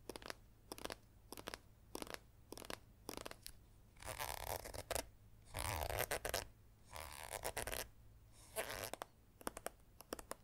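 A small, partly full green Safeguard hand sanitizer plastic squeeze tube is tapped and scratched with long acrylic nails. Quick, crisp plastic clicks come first, then longer bursts of bright, rasping scratching alternate with more taps, each sound dying away almost instantly.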